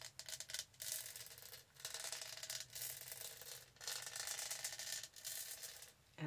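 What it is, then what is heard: Plastic studded tumbler being scratched. Long nails rub and scratch the studded body of a tall purple hollow plastic tumbler. The result is bursts of bright, raspy scratching with quick ticking textures, separated by brief quiet pauses.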